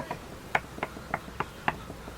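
Knocking on the upper part of a wooden log beehive, done to compare it with the hollow-sounding lower part, gives six short, dry knocks with a midrange tone that die away almost instantly. The hive is two-thirds full of comb.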